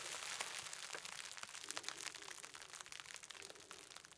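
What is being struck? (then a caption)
Plastic bubble wrap. A small wad of clear plastic bubble wrap with hollow air bubbles is held in both hands and squeezed and crinkled with the fingertips, popping the bubbles. Quiet, bright crinkling runs throughout, with dense, irregular sharp pops and crackles that fade slightly toward the end.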